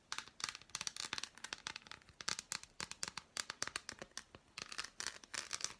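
Long black nails scratch and tap an unwrapped, handheld solid dark chocolate bar with embossed squares. The result is a quiet, rapid run of crisp, bright clicks and dry scratches with almost no low end. Each tick stops short with no ring.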